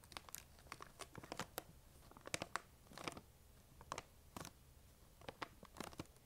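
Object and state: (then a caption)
Plastic candy bag. Long acrylic nails tap and scratch the surface of a large, full-looking printed plastic sharing-size bag of peanut M&M's. The result is quiet, bright crinkling with many short, sharp clicks and scratchy bursts.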